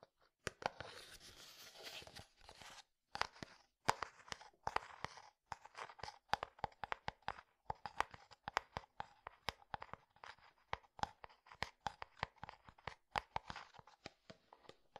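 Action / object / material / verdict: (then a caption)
tap / translucent plastic jar / plastic / none. Fingertips tap and scratch a medium, hollow, translucent frosted plastic jar that appears empty, close to the microphone. Rapid, sharp, clicky taps with almost no ring are heard, with dry, crinkly scratching between them. Each tap has a hollow midrange tone and a bright edge.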